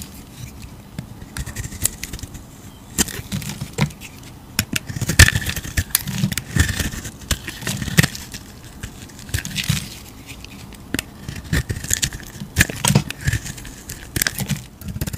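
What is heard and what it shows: A utility knife blade scrapes thick curls off a palm-sized solid yellow soap bar with a blue outer layer, held in a hand. Repeated crackly, scraping strokes come in uneven bursts, with sharp clicks and bright, airy rasps over a soft low rumble. A faint whistling tone sits near 1.7 kHz during some strokes.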